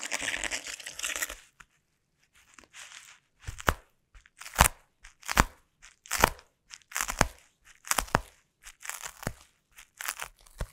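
Taped, sticky fingertips press, stick to and scratch a clear plastic bubble wrap sheet on a table, recorded close up. A dense crinkly rustle opens the clip and breaks off into a short silence. It is followed by a steady series of sharp, bright crackling bursts with quick tacky peels and low thumps, each ending abruptly with no ring.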